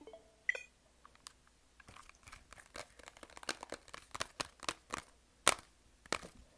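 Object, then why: Hard-plastic handheld game console. A small, hollow, yellow hard-plastic Nintendo Switch Lite handheld game console is held in both hands while fingertips tap its casing and rapidly press its buttons. The result is a quick, uneven stream of dry, bright, typing-like clicks with almost no ring, and one sharper, louder click near the end of the run.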